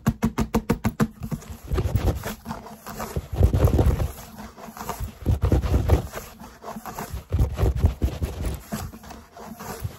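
Fingertips tap near the label of a large grey foam yoga mat, rolled into a hollow cylinder with a strap, in a quick run of short, dull thumps. The sound then turns to dense scratching and rubbing along the textured foam, rising and falling in heavy, low, muffled surges with almost no ring.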